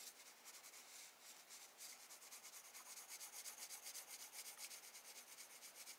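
A wooden graphite pencil held in the hand shades the sky on a spiral sketchbook page of drawing paper resting on a desk, using repeated rubbing and scratching strokes. The result is a soft, bright, hissy scratching with almost no low end, settling into a steady back-and-forth rhythm of about two strokes per second.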